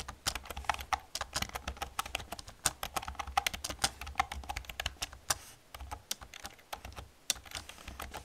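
Fast typing with long painted nails and fingertips on a black plastic computer keyboard with hollow plastic keys produces a rapid, uneven stream of sharp, bright clicks and clacks. Each tap ends almost instantly, with a faint low rumble underneath throughout.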